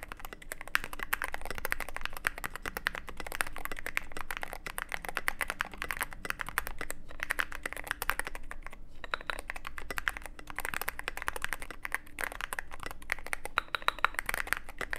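Steady two-handed fingertip typing on a Cyberboard mechanical keyboard with plastic keycaps and an aluminum case with an LED panel. Rapid, dense keystrokes produce short, crisp clacks with a bright midrange click, holding a fairly even pace throughout with brief pauses.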